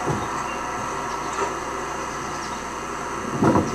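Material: Nothing is struck.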